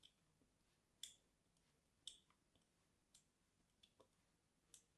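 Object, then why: Bar of soap scored with a blade tip. A solid white, palm-sized bar of soap is held in one hand and scored with the pointed tip of small scissors or a blade, scratching lines into its surface. Quiet, bright, crisp scraping clicks come at irregular intervals, each dying away almost instantly, with a faint hiss between them.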